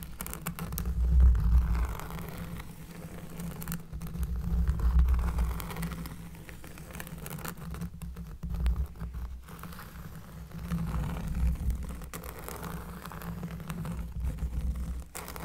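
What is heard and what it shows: Close-up scratching on a cork surface. A dense, rapid scratching texture with a deep, bassy low end swells and fades in several waves, with almost no high-frequency content.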